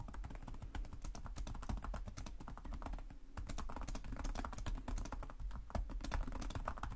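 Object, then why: Plastic laptop keyboard. Both hands type rapidly with short-nailed fingertips on the plastic chiclet keys of a black laptop resting on a desk. The result is a steady stream of quick, dry key taps, each with a short, bright click over a soft low thud, and no ringing between strokes.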